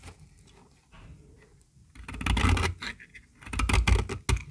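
A small, solid, pink, dry soap bar held in the palm is shaved with a metal utility-knife blade, and the flakes fall into a pile. Faint, soft scraping for the first two seconds gives way to louder, crisp shaving strokes with a dull low thud beneath and bright, dry crackle on top.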